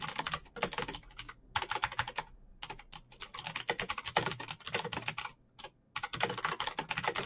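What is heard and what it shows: Fingertips of both hands type fast on the keycaps of a full-size, backlit black plastic Razer BlackWidow mechanical keyboard with green clicky switches, resting as a solid unit on a desk. Bright, crisp clicks come in rapid, continuous bursts separated by brief pauses, each tap dying away almost at once.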